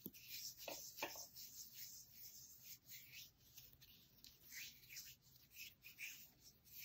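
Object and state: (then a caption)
Bar of soap scratched with fingernails. A small, hand-sized solid rectangular bar of green soap with an embossed logo is held in the hands and scratched and rubbed across its surface with fingernails and fingertips. It makes a quiet, bright, dry scratching and rustling, with a few sharper clicks near the start and uneven strokes throughout.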